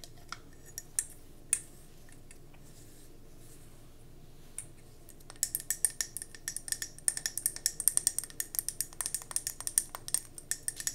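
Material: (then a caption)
Glass. Long nails tap and scratch a round gold mercury glass candle jar with a metallic rim, held in the hands. A few sparse, bright clicks come first, then a quiet stretch. From about five seconds on, a fast, dense run of sharp, high taps follows, with dry ticks that stop almost instantly.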